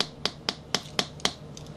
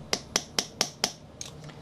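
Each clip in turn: First: worn fingerboard deck with dull, weak pop. Second: stiff fingerboard deck with good pop.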